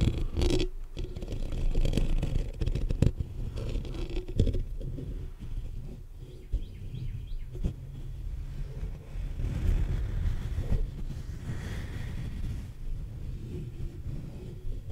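Fingertips and short nails of both hands scratch the black metal mesh grille of a large hollow condenser microphone. The result is a continuous, dense, low, rumbling scraping, almost all of it below 200 Hz, with a deep boomy body around 82 Hz. Brief sharper clicks and bursts rise out of it now and then.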